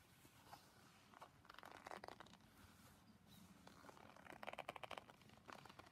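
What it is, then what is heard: Leather rubbed and scrunched by gloved hands. Two hands in purple-brown leather gloves rub, stroke and scrunch a large, flat, glossy red leather sheet, soft and not hollow, so leather rubs on leather. Quiet, irregular crinkling, creaking and soft squeaks come in short clustered bursts, growing busier and brighter toward the end.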